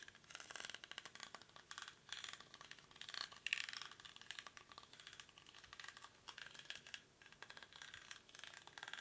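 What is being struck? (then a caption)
Woven rattan basket. Fingernails scratch the weave of a small, hollow woven rattan or reed basket held in both hands. The result is a quiet, dense, bright scratching and crackling with fast ticking rattles in bursts and almost no low end.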